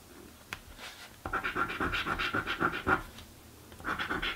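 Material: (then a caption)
Cardboard. A coin scratches across a thin, flat, blue cardboard paper scratch-off lottery ticket in quick back-and-forth strokes. After a faint tick, a burst of dry, rasping scrapes with a steady mid-pitched squeak runs for under two seconds. It falls quiet briefly, then the scratching starts again near the end.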